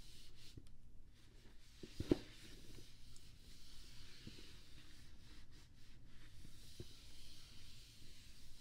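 A hand strokes a kabuki makeup brush over the lid of a closed, hollow, pink rigid cardboard GlossyBox gift box resting on a blanket. The brushing is quiet and steady, with soft, low, rustling rubs and a brief sharper tick just after two seconds.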